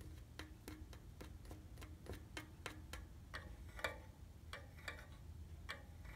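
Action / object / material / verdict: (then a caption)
tap / painted steel bicycle frame tubes / steel / none. Fingertips and nails tap on the red painted hollow steel tubes of a bicycle frame near the rear wheel. The taps are short, bright, clock-like ticks with a brief metallic ring around 1.2 kHz, over a steady low-frequency rumble.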